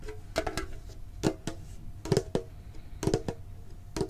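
A medium-sized hollow printed metal Pokemon card tin box is held and tapped with the fingertips and short nails. About a dozen quick, dull, hollow taps come in irregular small clusters, each with a low tinny tone near 390 Hz. Each tap dies away almost instantly.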